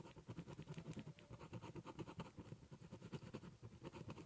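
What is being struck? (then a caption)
Corrugated cardboard box. The tip of a ballpoint pen scratches a zigzag line along the edge of a large, hollow, brown corrugated cardboard box. It makes a quick run of dull, rhythmic scraping strokes that resonate low and hollow, with little brightness. The strokes are short and dry, with almost no ring after each one.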